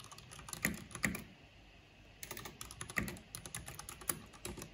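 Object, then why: Plastic mechanical computer keyboard. Fingertips with long painted nails type on a black plastic backlit mechanical computer keyboard with hollow plastic keycaps. Quick, irregular runs of short, dry, bright clicks are punctuated by a few louder clacks and a brief quiet pause in the middle. The taps stop quickly with almost no ring.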